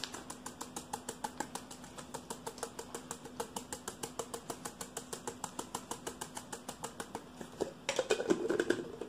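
A hollow, hand-sized stainless steel travel tumbler with a black plastic lid is tapped and scratched with fingertips and nails. About 55 quick, short, bright taps come at a steady, rapid pace with a hollow mid-pitched ring. In the last second they give way to a louder, denser burst of scratching.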